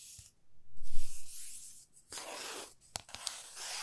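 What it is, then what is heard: Wooden ruler scratched with fingernails. A 30 cm solid light wooden ruler, held horizontally, has its surface scratched and rubbed with long fingernails. A swelling, breathy scrape with a low rumble is followed by a bright, hissy rub and a few sharp little clicks.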